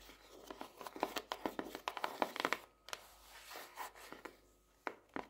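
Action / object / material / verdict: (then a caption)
tap / paper-covered hardcover notebook / cardboard / none. Long nails tap and scratch the cover of a closed, solid, purple marbled paper-covered hardcover notebook lying flat on a desk. A quick run of quiet, dry, sharp clicks mixes with scratchy rustling, with no low end. Each tap dies away almost instantly, with short pauses before a few final taps.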